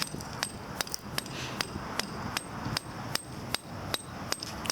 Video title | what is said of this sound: Epoxy Deck Injection - Jason DeReRuyver, Michigan DOT NS4A-3 | You can see that it sounds solid now.